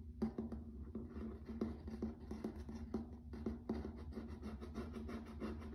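Fingertips and short nails tap and scratch across hard, flat, grey-washed wood-grain laminate floor planks. Quick, dull taps with a low hum-like tone stand out from a steady dry scratching texture. Each tap fades fast.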